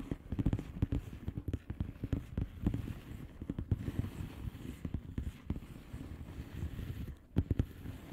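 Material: Plastic.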